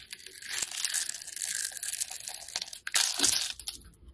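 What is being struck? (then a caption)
Solid soap bar scraped with a metal blade. A metal utility blade scrapes cubes and shavings off a hand-held solid black soap bar. The sound is a bright, dry, crunchy scraping and crinkling, almost all high-pitched, with a louder burst of crunching near the end.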